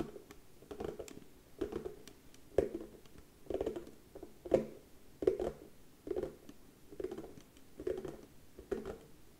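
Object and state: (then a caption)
Wooden surface (tapping). Slow, quiet tapping on a wooden surface: clusters of soft, dry patter-like taps recur about once a second. Each cluster has a dull midrange knock around 375 Hz that dies away almost instantly, leaving near silence between them.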